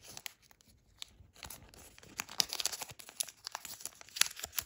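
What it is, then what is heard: Origami paper crane being creased. A nearly finished thin origami paper crane is held in both hands while fingers bend and crease its wings and neck. Quiet, crisp crinkling and small sharp snaps come in irregular bursts, sparse at first and then busier. The sound is bright and papery, with almost no low end.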